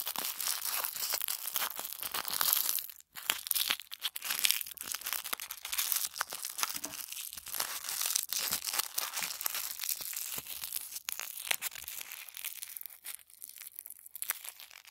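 A small, tight ball of white tissue paper is squeezed and rolled between the fingertips of both hands. It makes a steady stream of fine, bright crinkling and crackling with almost no low end. The sound pauses briefly around the three-second mark, then the dense rustle carries on to the end.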